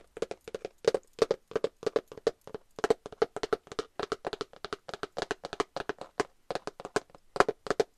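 A glitter cardboard eyeshadow palette is tapped with long nails and fingertips, giving a quick, uneven run of about 47 short, dry clicks. Each tap has a hollow, boxy mid tone near 400 Hz with a bright clicky edge and almost no ring. The taps come in bursts with brief gaps between them.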